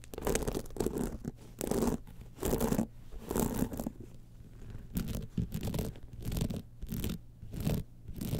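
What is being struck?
Rhinestone-studded clutch bag.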